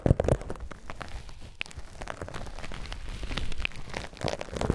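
A white polyethylene foam mesh net wrap is held taut and rubbed with fingertips and thumbs, making a dense, crackly rustle of soft squeaks and scratches. A few sharper bursts come at the start and near the end, over a steady low-heavy friction texture.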